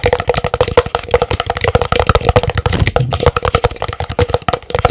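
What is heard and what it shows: Fingernails rapidly tap the side of a large, empty, hollow white printed paper cup. The result is a fast, continuous stream of short, dry clicks, each with a faint hollow ring near 500 Hz.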